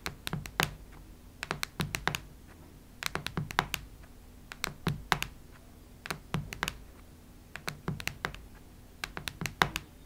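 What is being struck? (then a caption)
Cardboard hardcover notebook tapped with fingernails. Long nail tips tap on the cardboard cover of a cactus-print hardcover notebook. Quick, crisp clicks come in irregular bursts of several taps with short pauses between. Each tap is dry, with a bright edge and a soft low thud, and dies away almost at once.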